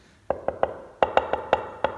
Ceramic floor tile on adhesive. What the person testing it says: jak stukamy płytki, które są dobrze przyklejone, wydają taki głuchy dźwięk